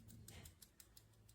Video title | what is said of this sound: Reseña del PROZOR DAC Convertidor Digital a Analógico 192kHz Adaptador Coaxial Óptico a RCA 3.5mm Ja | something loose inside and I don't think that's going to work well.